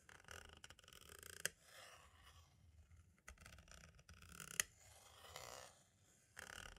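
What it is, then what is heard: Plastic audio cassette tape. A green-and-black striped tool tip traces, scratches and taps around the hub holes and window of a hollow plastic compact cassette shell. Quiet, bright scratching and rubbing fills the clip, broken by two sharp, dry clicks that stand out and die away almost instantly.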